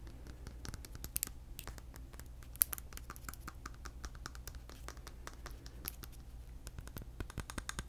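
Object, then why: Glass jar filled with candle wax. A medium glass candle jar filled with solid yellow candle wax is held in one hand and scratched and tapped with fingernails. Quiet, dense, crisp clicks and scratchy ticks with bright, very short transients sit over a steady low hum, with a few sharper taps standing out.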